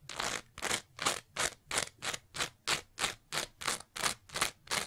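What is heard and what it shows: Long nails scratch a green layered foam scrub sponge with a pale foam layer in a steady rhythm of about fourteen separate strokes. Each stroke is a quick, bright, airy scrape with very little low end, ending with no ring.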